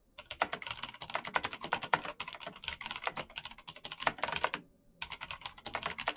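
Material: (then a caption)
Plastic. Fingertips in fingerless knit gloves type fast on a black plastic mechanical gaming keyboard with clicky green switches, backlit keys and a hollow case. Rapid, bright, sharp key clicks with a hollow plastic clack run almost continuously, broken by one brief pause near the end before the typing resumes.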